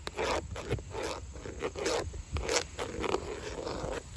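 Long acrylic nails tap and scratch along large, hollow-backed, grey textured vinyl siding panels on an outside wall. Short bursts of scraping and tapping come one after another, with a hollow mid-range body around 380 Hz and bright, breathy scratches on top. Each sound dies away almost at once over a steady low background.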